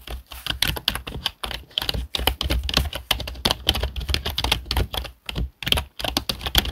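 Fingertips of both hands type quickly on a black plastic HP desktop keyboard, producing a dense run of short, dry key clicks with brief pauses between bursts. The clicks are bright, centred around 3.4 kHz, with a soft low thud under each press and almost no ring after each tap.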